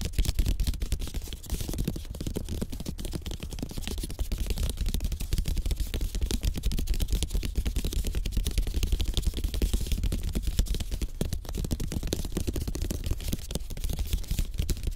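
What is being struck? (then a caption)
Slatted bamboo placemat. Fingertips and short nails of both hands tap quickly on a thin, solid, flat slatted bamboo placemat lying on a surface. The result is a dense, continuous patter of short, dry taps with a low, thudding body and crisp, bright clicks on top, holding a fairly even level throughout.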